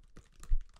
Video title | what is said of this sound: ASMR Tapping On EVERYTHING | it almost sounds like tapping on leather